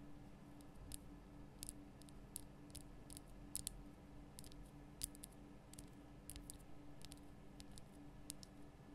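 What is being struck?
Rock-salt lamp block.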